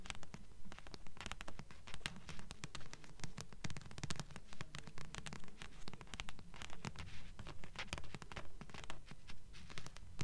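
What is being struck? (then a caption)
Paperback book with glossy card cover. Long nails tap and scratch the glossy front cover of a thick blue paperback book with solid paper, held upright in both hands. Quick, steady tapping mixes with bright, dry scratching in a regular rhythm, each short tap carrying a soft low thump that dies away almost at once.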